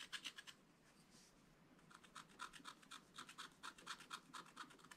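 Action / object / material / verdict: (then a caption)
scrape / black-coated scratch art paper card scraped with a wooden stylus / coated paper / none. A wooden stylus scratches the black coating off a flat scratch art card in a spiral pad, working around a rabbit figure. Quick, dry, bright scraping strokes come in a short burst, pause for about a second, then continue in a steady run of rapid strokes.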